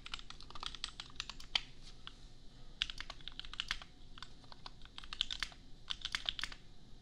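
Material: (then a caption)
Plastic. A $250 custom 60% mechanical keyboard with Gateron Milky Yellow switches and red and white plastic keycaps, sitting on an anime desk mat, is typed on with the bare fingertips of both hands. The result is a steady stream of quick, bright plastic clacks that die away almost instantly, with a few sharper, louder strokes standing out.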